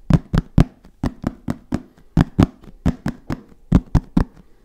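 A black, fabric-covered, hollow hard-shell zip case is tapped and knocked with the fingertips. The knocks come in an irregular rhythm, each one short and dull with a low, hollow body and almost no ring. About fifteen separate hits are heard.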